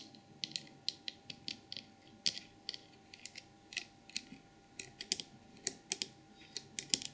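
Long purple nails tap and scratch the glossy ear, head and trunk of a small white glazed porcelain elephant trinket box. About 25 sharp, bright clicks ring out at an irregular pace, with faint scratchy rustling between them and almost no low end.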